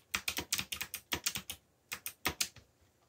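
Fingertips press the keys of a backlit mechanical computer keyboard with black plastic keycaps in typing taps. Fifteen short, bright clicks come in a quick run, pause briefly, then continue in a shorter burst. Each tap is crisp and dry with almost no low end or ring.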